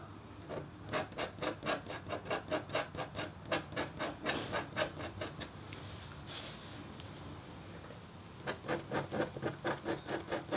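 The metal tip of a red stylus scratches a thin, solid, flat black-coated copper-foil scratch art board in quick, rhythmic strokes, each a short, dry, bright scrape. The strokes stop for a few seconds of near-quiet, then resume. At the end, the other hand, with pink nails, rests on the paper.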